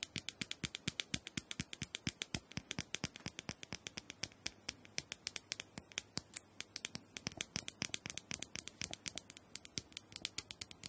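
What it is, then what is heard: Plastic handheld massager. Long nails tap rapidly on a small, round, purple plastic dome massager that is likely hollow, producing about 80 separate, sharp, bright clicks over eleven seconds. Each tap is crisp and dry, with almost no ring, and they come in a fast, uneven patter that stays fairly steady in loudness throughout.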